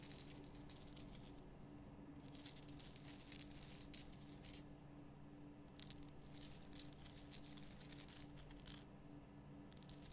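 Long painted nails scratch the rough surface of a large, solid, lit pink rock-salt Himalayan salt lamp. Quiet bursts of bright, dry, crackling scratches come in clusters with pauses between them, over a faint steady low hum.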